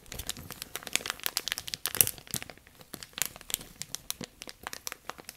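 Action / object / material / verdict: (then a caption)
scrape / thin plastic bag / plastic / none. A thin, clear, empty plastic bag is crumpled and crinkled between both hands close up, worked with fingertips and long nails. Dense, bright crackles and sharp crinkling snaps come in quick, irregular bursts, with very little low end and almost no ring after each snap.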